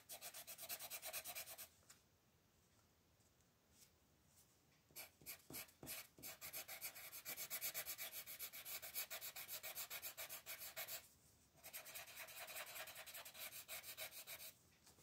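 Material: Paper.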